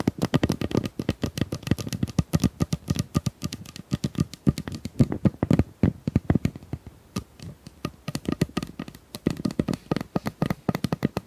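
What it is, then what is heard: Plastic tube. A pink plastic tube is tapped quickly and steadily with many short, dry taps in uneven bursts. Each tap gives a dull, hollow, low thud near 140 Hz that dies away almost at once, with little brightness above it.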